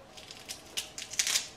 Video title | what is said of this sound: Making Homemade Smoked Paprika | you hear how crispy that is? Really dry.